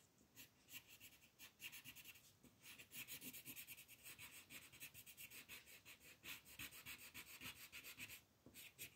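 A green colored pencil held in the fingers rubs and scratches across a thin white paper coloring book page lying flat on a table while coloring grass. The sound is a quiet, rapid series of bright, raspy back-and-forth strokes, centered around 2.5 kHz with almost no low end. Each stroke dies away quickly.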